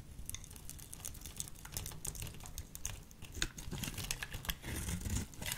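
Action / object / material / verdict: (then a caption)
scrape / bar of soap / soap / none. A solid lilac soap bar, held in a hand with long purple nails, is cut into fringes with a small metal blade. The carving and scraping make a rapid, uneven run of crisp crackling clicks with bright edges over a soft low rustle.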